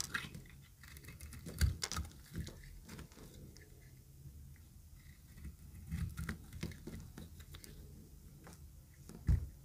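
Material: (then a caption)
Soap. A pink-green speckled bar of solid dry soap is cut and scraped with a utility knife blade. Low, dry crunching and scraping runs throughout, broken by sharp cracking snaps, the loudest near the start and at the very end.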